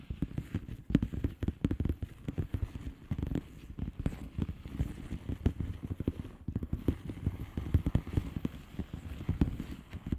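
A flat blue plastic bubble wrap envelope is tapped with the long polished fingernails of both hands. The result is a fast, continuous stream of short, soft taps with a dull, low-heavy body and almost no ring, with no talking.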